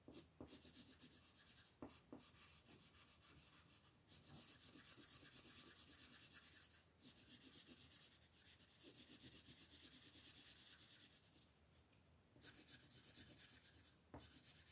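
A red wooden colored pencil shades a large area of a flat, thin paper coloring book page lying on a table, using rubbing, scratching strokes. The sound is a dense, bright, raspy scratching that runs in long continuous passes, broken by brief pauses and a few sharper taps between strokes.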